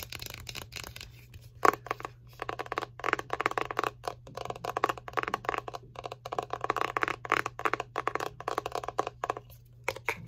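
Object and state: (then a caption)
Plastic cream jar, tapped and scratched. Long painted fingernails tap and scratch the lid and sides of a small, round, apparently full Infinite Aloe skin care jar, made of plastic with a green screw lid and held in the hands. Rapid dry clicks and scratchy scrapes come in dense bursts with no ring, over a faint steady low hum.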